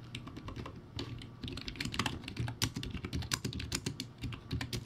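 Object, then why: Plastic keyboard with round keycaps. Fingertips type rapidly on a crappy backlit, typewriter-style keyboard with round white plastic keycaps. A dense stream of quick, dry plastic clicks with bright tops rides over a low hollow thump, each key dying out almost instantly.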